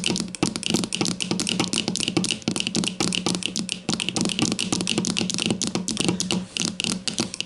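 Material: Plastic.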